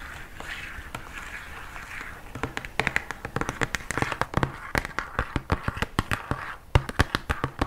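An opaque white plastic lotion bottle with a pump top, about 20 cm tall and hollow with its fill level not visible, is lightly scratched and then tapped with fingertips and nails along its body. A soft, bright scratching rustle opens the clip, followed by a rapid, irregular run of short, dry taps with almost no ring. Each tap has a hollow low thump beneath its sharp click.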